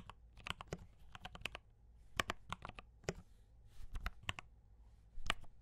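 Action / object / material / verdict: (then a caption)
tap / mechanical keyboard with plastic keycaps / plastic / none. Fingertips type steadily on a compact D84 mechanical keyboard with brown switches and cream and red plastic keycaps. The result is a quick, uneven string of short, dry, bright clacks that stop almost instantly, over a faint low hum.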